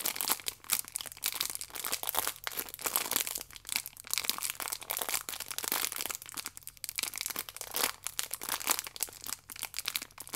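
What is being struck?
Stack of yeast sachets in plastic wrap.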